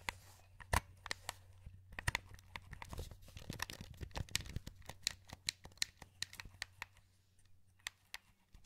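Thumbs press and rotate the joysticks and click the buttons of a hollow, wired black plastic PS2 controller held in both hands. The result is an uneven stream of short, sharp, bright clicks and soft scratchy rubs with no ring. A steady low hum runs underneath.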